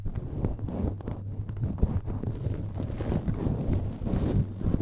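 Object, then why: Perforated metal mesh microphone grille. A cotton swab scratches and rubs the red perforated metal mesh grille of a cylindrical microphone while fingertips touch it. The result is a close, dense rumbling scrape that is heavy in the low end, with a steady low hum underneath and quick scratchy crackles throughout. About halfway through, a faint airy hiss rises in the high range.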